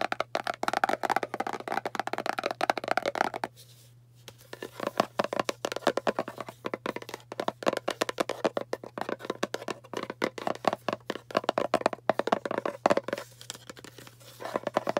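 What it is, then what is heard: Round cardboard box. Long painted nails rapidly tap and scratch the lid and side of a hollow, cylindrical kraft cardboard box with a barcode label. The result is a dense stream of quick, dry clicks with a hollow midrange tone near 640 Hz that die away almost instantly. There is a brief pause just before 4 seconds, and a faint steady low hum runs underneath throughout.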